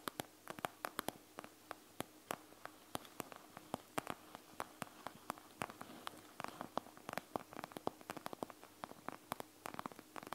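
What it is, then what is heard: Plastic gel bead eye mask. Long nails scratch rapidly over the gel beads of a panda gel bead eye mask with a clear plastic shell. Quick, sharp, dry plastic clicks and ticks follow one another in a dense, irregular stream. They sit over a faint, steady hiss.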